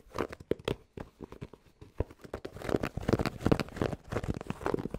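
Fingertips tap fast and scratch across the hollow crown of a grey cotton Penn State baseball cap with a stiff brim, held close to the microphone. Quick, irregular, dull thumps mix with dry, crinkly fabric scratching that swells louder toward the end. The sound is mostly low and muffled, with each tap dying out almost instantly.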